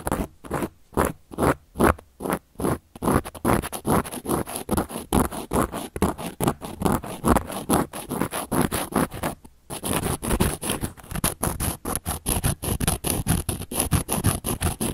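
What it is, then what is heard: Cork coaster scratched with a carving tool. A round, flat, solid cork coaster is scratched and carved with the tip of a handheld carving tool, producing a dense series of short, dry scraping strokes with broadband hiss. The strokes come in an uneven rhythm, with sparse separated scrapes at first, then quicker, more continuous scratching after a brief pause near the ten-second mark.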